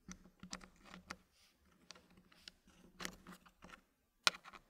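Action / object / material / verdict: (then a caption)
tap / wooden puzzle pieces in a wooden frame / wood / none. Fingertips press small solid wooden puzzle pieces into a green-painted wooden tray, making quiet, bright clicking taps of wood on wood. Sharp clicks are spread irregularly across the clip, with one louder snap near the end.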